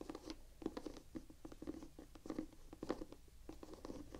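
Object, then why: Rubber shoe outsole with textured tread. Long nails scratch and tap the white rubber outsole with diamond tread on a Vans Quasi signature slip-on sneaker held in both hands. The result is quiet, dry, scratchy tapping in uneven bursts, with a dull low-mid tone and no ring after each touch.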